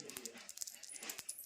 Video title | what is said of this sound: Yes महाराजा चॅनेलवर माझा पहिला व्लॉग..🤟 - #Mandar_Patil | याचा आवाज ना एकदम दगडासारखा आहे थांबा तुम्हाला दाखवतो. आवाज बघा दगडासारखा आवाज येतोय